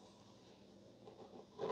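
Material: Nothing is struck.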